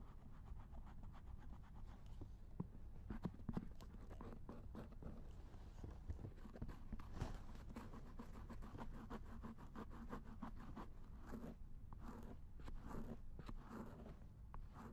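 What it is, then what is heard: Silicone ear of a binaural dummy head being scraped. A long, thin wooden or bamboo ear pick scrapes and scratches the silicone ear of a binaural dummy head microphone resting in a lap. The result is a steady, close, muffled stream of dense scratching and rustling, heavy in the low end, with occasional sharper clicks and a few brighter swishes near the end.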